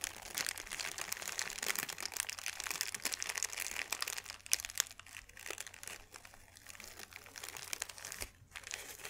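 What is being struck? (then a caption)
Thin paper sheet. A thin white paper sheet is opened flat, then crushed into a ball by both hands. Dense, bright crinkling and crackling runs throughout with almost no low end, easing to softer, sparser rustles in the second half before a few final crinkles.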